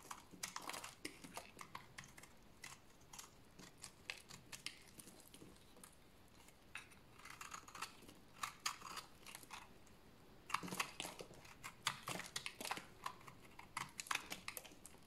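A dry bar of lavender soap, lilac in colour and held in the hands, is scraped with a utility blade into powdery shavings. Quiet, dry scraping and crunching strokes come in dense bursts, each brief and bright, with very little low end.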